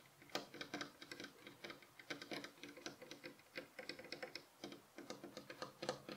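Several fingernails rapidly tap the solid, light wooden headboard rail of a bed frame while the pillow beside it stays untouched. The result is a quick, uneven stream of quiet, dry clicks with short wooden resonance and a faint pitched ring near 500 Hz.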